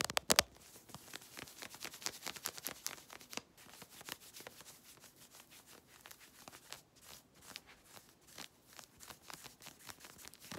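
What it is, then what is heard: Synthetic stretch leggings being scratched. Long red nails scratch fast over worn grey synthetic stretch-fabric leggings around the waist and hip. It makes a rapid run of dry, bright, rasping strokes, loudest in a burst at the start and then steady and quieter with almost no low end.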